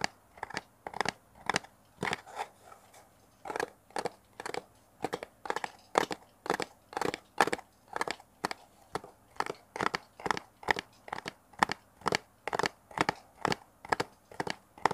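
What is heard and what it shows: A small, hollow brown kraft cardboard box held in both hands is tapped and scratched with fingernails close to a mini mic. The result is a quick, steady run of short, dry, crunchy taps with a hollow papery midrange and a little bright scratch. Each tap stops almost instantly, with a brief pause partway through.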